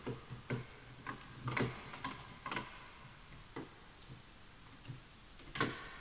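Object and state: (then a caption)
Wooden keyboard being typed on. Both hands type with their fingertips on a full-size wooden, bamboo-look computer keyboard with wooden keys resting on a white desk, a mouse nearby but untouched. Nine dry, woody clicks and taps come at an irregular pace, each with a low knocking body and a brief bright edge that dies away quickly, over a quiet background.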